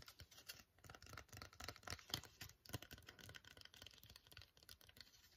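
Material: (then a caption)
Foil. A full, flat, sealed silver-white No7 foil sheet mask sachet is held in both hands and tapped with long fingernails. Rapid, irregular clicks and crinkles sound with a bright, papery crackle and very little ring after each tap.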